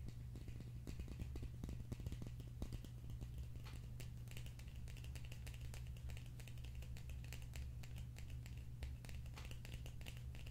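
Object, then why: Slim plastic tube container. A slim, hollow red plastic tube container is held in the hands and tapped and scratched with fingertips and nails. Quick, dry clicks and taps come in a dense, uneven stream, with brighter scratchy ticks, over a steady low hum. The sound stays quiet throughout.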